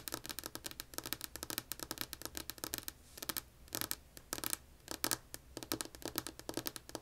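Long polished nails on both hands tap and scratch a solid, flat, light wood-grain tabletop in rapid bursts of dry, bright clicks. Quick scratchy runs are broken by brief pauses. Each tap dies away almost instantly, leaving little low end.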